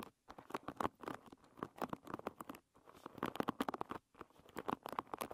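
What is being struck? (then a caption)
Wooden pin hairbrush. Long red nails strum and scratch across the many wooden pins of a hairbrush lying bristles-up. The result is a quiet, rapid patter of dry, clicky plucks and scratches, centred in the midrange with almost no decay. Brief silent pauses break the sound into bursts.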